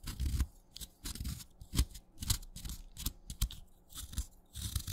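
A craft knife shaves curls from the side of a solid, wet, light green chalk stick. Repeated short, crunchy scraping strokes come in uneven bursts, each with a soft low thud and a bright, gritty hiss that stops almost at once.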